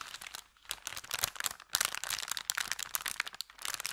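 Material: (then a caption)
Paper. Both hands bend and crinkle an empty, thin kraft paper bakery bag with a red logo above the felt. Dense, bright, crackling rustles come in bursts, with brief quieter dips near the start and just before the end, and almost no low end.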